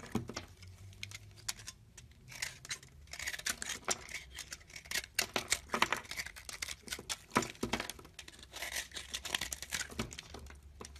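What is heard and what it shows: A box-cutter blade scrapes and carves a hand-sized solid bar of green and white marbled soap held in the palm, flaking off shavings. It makes a dense run of crisp, bright scratching and crackling strokes in quick irregular bursts over a faint steady low hum.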